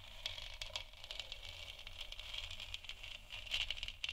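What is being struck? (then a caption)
Plastic moon lamp sphere. Long nails scratch and tap across a large, hollow, textured plastic moon lamp sphere. The result is a quiet, steady stream of bright, raspy scratching mixed with quick, light taps, centred around 2.7 kHz. A faint low hum sits underneath.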